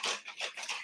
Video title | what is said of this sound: How To Make Strawberry Shortcake and Homemade Whipped Cream | you hear a splish splash going back and forth. You hear it sloshing around in there.